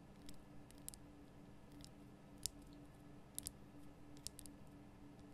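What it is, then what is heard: Himalayan salt lamp tapped with nails. Long nails tap the sides of a large, lit pink Himalayan rock-salt lamp, a solid rough crystal block, producing sparse, sharp, bright clicks that die away almost instantly. A faint, steady low hum runs underneath throughout.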